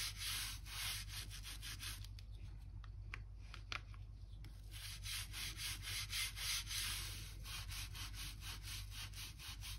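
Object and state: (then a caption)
Oak floorboards, brushed in the plank gap. A blue-handled crevice brush is dragged back and forth in the gap between solid oak floor planks, brushing out dirt and dust. It makes a rapid, bright, scratching rub in repeated strokes over a steady low hum.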